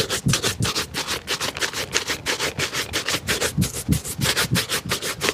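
A black leather dress shoe, held in hand, is rubbed briskly along its upper with a wooden-backed bristle shoe brush in polishing strokes. The brushing makes a steady run of quick, bright, scratchy swishes, about three per second, each with a short low thump.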